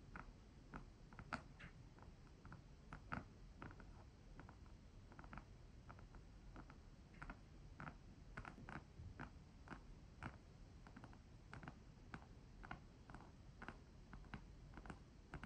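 A flat, rigid cardboard or paper-covered rectangular box, printed with a white marble and palm-leaf design reading "good vibes," is held in both hands and tapped and scratched with long acrylic nails. It produces a steady stream of quick, light, dry clicks and short scratchy strokes that die away almost instantly, over a quiet low rumble.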